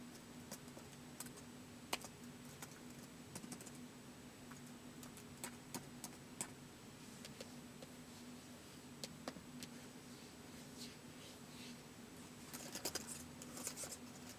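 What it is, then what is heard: Plastic laptop keyboard. Fingertips slowly press the keys of a white plastic laptop keyboard, making quiet, short, bright clicks at irregular intervals. A faint steady low hum runs underneath, and the taps come closer together near the end.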